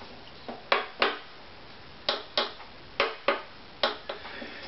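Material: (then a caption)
Maple wood. A varnished, maple-backed violin with a hollow body is held tilted by the neck while its back plate is tapped with a thin stick. Eight short, dry taps sound mostly in pairs, each a bright knock centered around 1 kHz that dies away within about a tenth of a second.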